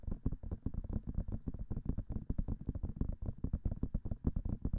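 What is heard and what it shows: Long nails tap quickly on the silicone ears of a binaural microphone, producing a rapid stream of soft, dull, low thumps with almost no ring. The taps come in a steady fast patter throughout, mostly deep and muffled with little high content.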